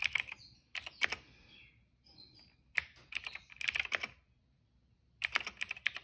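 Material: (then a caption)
Plastic. Fingertips type on a retro-style cream plastic mechanical keyboard with black, purple and yellow keycaps. Quick, bright, clicky keystrokes come in three bursts separated by short pauses, each press sharp with almost no ring.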